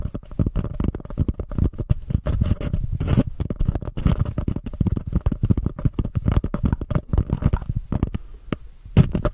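A small empty white embossed paper cup is turned over a microphone while long painted nails scratch and rub its sides. The result is a dense, continuous stream of fast, dry scratching and tapping with a low, muffled thump. A brief near-silent lull falls just before the end.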